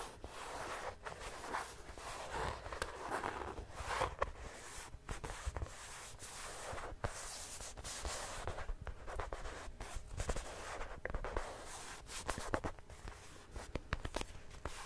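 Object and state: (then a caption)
Vinyl toy football. A small red and white Canada toy football, a hollow soft plastic or vinyl one, is held close and scratched and tapped with long painted nails. Quiet, dry scratching and rubbing runs throughout, broken by frequent sharp little taps that stop almost instantly.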